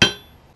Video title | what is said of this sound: Anvil envy: Peter Wright Anvil rebound test | kind of loud kind of pingy